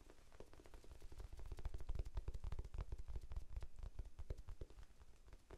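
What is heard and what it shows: A small, rectangular, soft and solid pink foam sponge, held in both hands near the face and microphone, is tapped with the fingertips. It makes a quick, irregular patter of soft, dull, muffled thumps. Each tap is very short with almost no ring, and the sound sits deep and low with no bright edge.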